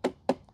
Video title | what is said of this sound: The Winner Is Clear.. - DJI Power 1000 Vs EcoFlow Delta 2 Portable Power Station Comparison | plastic is definitely a lot thinner